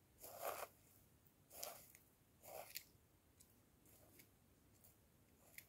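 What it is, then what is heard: Plastic jar scraped and tapped. Wooden chopsticks scrape and tap along the ribbed rim and sides of a hand-held clear plastic jar partly filled with dark dried loose material. Six quiet, irregular bursts of rasping, scratchy friction are heard, centered around 600 Hz with bright high hiss. Several end in short sharp ticks that die away quickly.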